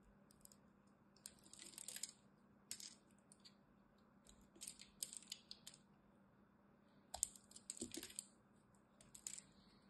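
A metal blade carves and scores a solid green dry soap bar held in the hand, producing short bursts of dry, crisp, bright scraping and crackling. The cuts come in irregular clusters separated by quiet gaps over a faint steady low hum.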